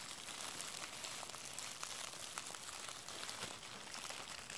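A clear plastic bubble wrap sheet with hollow air bubbles is held up and crinkled with the fingertips of both hands. The result is a steady, quiet, bright crinkling texture with brief sharp crackles scattered throughout and very little low end.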